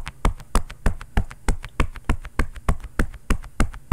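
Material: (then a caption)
Padded cotton. A bare fist pounds and knocks fast on a long, padded, quilted cotton oven mitt with a floral print, worn on the other hand and soft and hollow. The result is a quick, steady rhythm of deep, muffled thumps that stop dead, with strong blows alternating with softer knocks between them.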